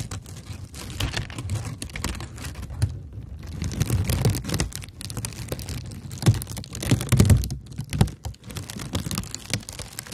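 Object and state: Kraft paper honeycomb wrap.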